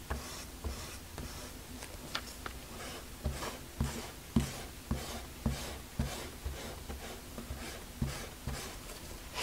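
A white eraser is rubbed back and forth over the paper of a small spiral-bound sketchbook lying open on a wooden desk to an inked butterfly drawing, while one hand holds the page down. Soft, scratchy rubbing strokes repeat at a loosely steady pace, each with a dull low thump and a bright papery hiss that fades quickly.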